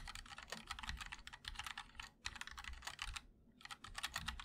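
Both hands type continuously on a 60% MOD-L mechanical keyboard with linear switches, a black aluminum case and white and black ABS keycaps. It makes a rapid stream of short, bright clacks with a light low thump. The typing pauses briefly twice before picking up again.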